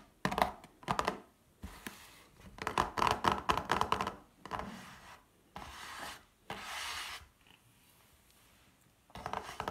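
Long painted fingernails tap and scratch a small, hollow, rectangular pink-and-red printed cardboard Douglas mini glam palette box with a palette inside, standing on a wooden table. Quick bursts of crisp, clicky tapping and scratching alternate with smoother, sustained rubbing strokes, separated by short quiet pauses. The sound is dry and papery, with a bright, hollow cardboard tone.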